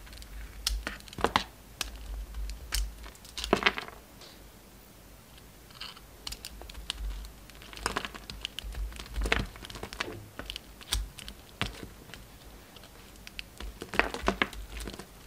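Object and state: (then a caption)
Bar of soap being carved. A solid oval bar of pink and white soap with a glittery brown coating is held in the hand and shaved and carved with a steel utility knife blade, with shavings falling off. Quick, crisp scraping and crackling cuts come in uneven bursts, some longer and brighter, with short quiet gaps between them.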